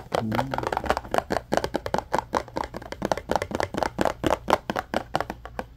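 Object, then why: Small cardboard package. Short fingernails and fingertips tap and scratch a small, hollow yellow cardboard retail package, a Scrub Daddy sponge box held in both hands. A quick run of about 29 dry, hollow taps lands at an uneven pace, each dying away almost at once, with light scratching between them over a faint low hum.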